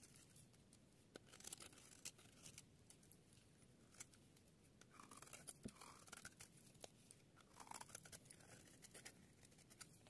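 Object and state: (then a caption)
Dry soap bar carved with a blade. A solid, dry yellow soap bar held in the palm has its edge carved and scraped with a metal blade, shaving off fine curls. Soft crunchy, scratchy scraping runs throughout with many short, bright crackling clicks and rasps over a quiet, steady hiss.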